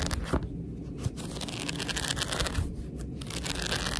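Long red nails scratch and rub across the top white page edges of a thick paperback book held horizontally. The sound is a steady, dry, papery rasp with a bright, hissy edge over a low rumble, with a few slightly louder scrapes along the way.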